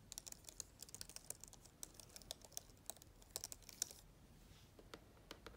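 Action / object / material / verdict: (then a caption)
tap / plastic laptop keyboard / plastic / none. Long-nailed fingers type on the black plastic keyboard of an open laptop, producing a quiet, irregular run of about 26 sharp, bright clicks with almost no ring. The tapping pauses briefly just after four seconds, then resumes with a few sparser clicks before the end.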